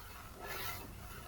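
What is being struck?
Nothing is struck.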